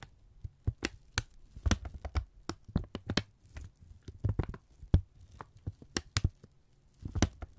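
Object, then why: Thin kraft paper strip. A thin strip of brown kraft paper is held in both hands and crinkled, stretched and rubbed with the fingertips. Quick, sharp crackles and crisp rustling bursts come in irregular clusters, with brief pauses between them. A low, steady hum runs underneath.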